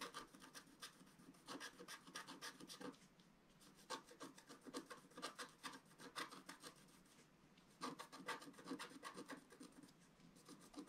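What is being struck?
Black-coated scratch-art paper scratched with a wooden stylus.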